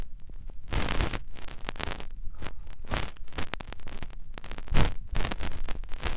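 A fingertip rubs and presses inside the ear canal of a white silicone ear on a binaural microphone. The result is a steady run of close, muffled, low rubbing and soft scratchy bursts with quick bright crackles. The bursts rise and fall unevenly throughout, with no talking.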